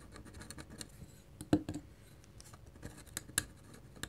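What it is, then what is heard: Pen nib scratching on drawing paper. A hand holds a black pen and scratches dense hatching strokes into a flat white paper drawing sheet with its metal nib. Quiet, dry, rapid scratchy rasps are heard throughout, broken by a few sharper ticks that stand out, the loudest about halfway through.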